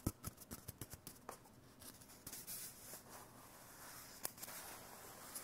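A small, hollow, empty white cardboard toilet paper core is held in one hand and tapped and scratched with fingertips and short nails. A quick run of short, dry taps with almost no ring is followed by softer, breathy scratching with a bright hiss, then a couple more sharp taps near the end.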